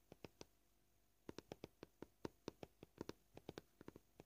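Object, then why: Plastic cutting board. Short purple-polished fingernails tap a flat, solid white plastic cutting board with visible knife scratches. There are 22 quiet, dull clicks with a low-mid body around 340 Hz and almost no ring. They come at an uneven pace: three early taps, a pause of nearly a second, then a busier run to the end.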